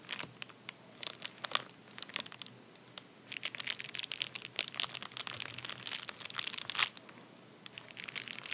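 A hand's fingertips tap and scratch a flat padded paper bubble mailer lying on a towel. The result is quiet, bright crinkling and crunching in bursts of short, dry taps and scrapes, with brief pauses between.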